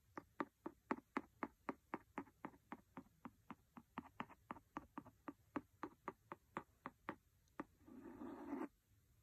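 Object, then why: Cloth-covered hardcover book tapped with a wooden pencil. A wooden pencil taps quickly on the cloth cover of a large, solid, red cloth-covered hardcover book, making about 29 short, dull, woody ticks in an uneven rhythm. The tapping is then followed by a brief, rough scratch across the cover lasting about a second before the clip falls quiet.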